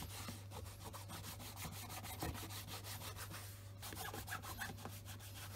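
A black Scotch Grain leather wingtip shoe, held in the hand, is rubbed with a white cloth wrapped over the fingers along its upper and side. Quiet, rapid brushing strokes make a dry, airy swish over a steady low hum.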